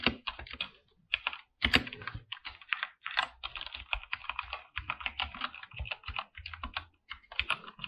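Both hands type with their fingertips on a full-size backlit mechanical keyboard with PBT plastic keycaps, lit by a dim purple light. A fast, steady stream of sharp, bright keystroke clacks fills the clip, with only a brief pause early on. Each click is short and dry, with almost no ring.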